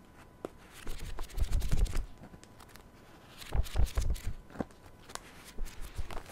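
A paperback self-help book is held open at the mic while its pages are flipped and riffled with the fingers. Dry, papery flutters and rustles come in two dense bursts, with soft low thumps underneath. Brief, crisp page flicks with a bright edge sound between and after the bursts.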